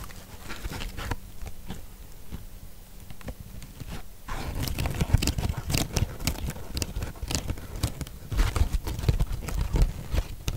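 Long pink acrylic nails scratch and squeeze the soft surface of a large, porous yellow natural sea sponge held in both hands. Dense, soft crackling and squishing scratches are heard, quiet at first and then louder and busier from about four seconds on, with a muffled low-heavy body and brief bright ticks.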